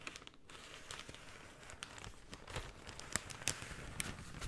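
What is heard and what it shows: A folded brown kraft paper shopping bag is unfolded and crinkled by hand. It makes a quiet, continuous rustle broken by sharp, bright crackles and snaps that stop almost instantly.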